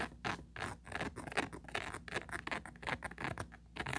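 Four long pointed nails scratch and rub over an empty small oval plastic tray with a grid-textured mesh surface and a ridged side wall. The sound is a quick, uneven run of dry, raspy scratching strokes with bright, papery hiss. Each stroke swells and fades without any ringing.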